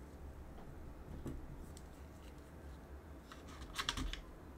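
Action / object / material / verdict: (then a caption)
tap / mechanical keyboard with plastic keycaps / plastic / none. A gloved hand runs a cotton swab near the space bar of a backlit mechanical keyboard with plastic keycaps, then presses the plastic keys. Soft, quiet rubbing and faint ticks sit over a low background rumble, followed near the end by a quick cluster of short, bright plastic clicks that die away almost instantly.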